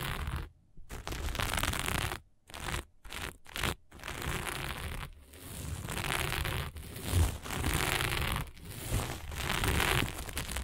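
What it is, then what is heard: Sequin fabric. Long fingernails on one hand scratch across dark sequin fabric lying flat, producing bursts of bright, crackling, scraping rustle. The scratching runs in uneven strokes broken by short silent pauses, with a low rumble underneath.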